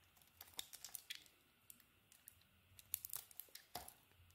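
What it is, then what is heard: Soap bar being carved. A solid white soap bar coated in purple is held in the hand and shaved with a metal utility blade, scraping and carving it. Quiet, crisp, bright scrapes and crackling shavings come in two clusters of short strokes, separated by a near-silent pause in the middle, with each stroke cutting off almost instantly.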